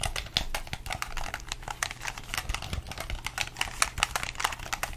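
A hollow red plastic gamepad held in both hands has its buttons pressed with the thumbs and its shell tapped with the fingertips. The result is a rapid, steady stream of dry plastic clicks and taps, bright and sharp with almost no ring, over a faint low rumble.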